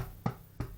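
Two taps on the bottom of a bread loaf just taken out after about 40 minutes in a steamed oven give short, low, hollow-sounding knocks. The hollow tone shows the loaf is baked through.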